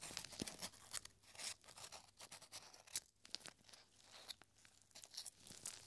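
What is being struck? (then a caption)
Thin paper scroll. A long, thin, yellowed paper strip printed with numbers is held taut, then rolled back into a small tube by gloved fingers. Dry crinkling and soft crackles come in quick bursts, bright and papery with little low end. The paper ends up curled into a small scroll.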